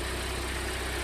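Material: Nothing is struck.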